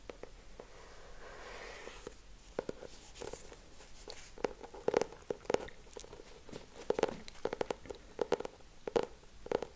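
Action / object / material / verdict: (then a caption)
tap / hardcover notebook with cardboard cover / cardboard / none. Fingertips and nails tap and scratch the cardboard cover of a solid purple hardcover notebook with a Friends frame design. A soft, brushing scratch in the first two seconds gives way to quick, dry taps with a hollow knock near 465 Hz and faint high clicks. The hits die away almost instantly.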